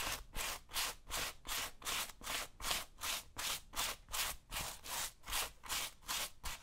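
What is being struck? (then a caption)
Suede boot upper brushed with a bristle brush. A bristle brush held in the hand scrubs back and forth across the suede upper of a tan suede or nubuck tactical boot worn on the left foot. Sixteen bright, scratchy rubbing strokes come at a steady rhythm, each a short hiss that rises and fades.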